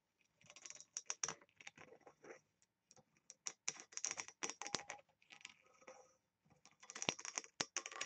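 Long nails tap and scratch rapidly across the lid of a small oval engraved, embossed brass box with a ring handle, held up and looking hollow. Quick, dry, bright clicks and scrapes come in busy bursts with short pauses, each tap dying away almost instantly with no ring, at a quiet level.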